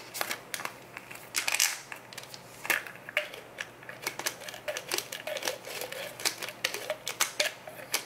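Fingertips twist the yellow plastic cap on and off a small brown plastic Nature Made Iron pill bottle. Many quick, bright plastic clicks and scrapes follow one another with only a faint hiss between them.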